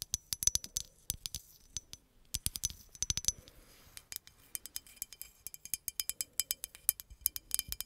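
A medium green hollow glass bottle, held behind the mic, is tapped with long acrylic nails in a quick, uneven run of about forty sharp clicks. Each tap is a bright, high clink that dies away almost instantly, with very little low end and a faint glassy tone lingering underneath.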